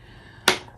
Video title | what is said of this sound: Dior The Atelier of Dreams Limited Edition, Atelier Dore/Review/Application and First Impression | you do have to shake it up you can hear like there's a ball in there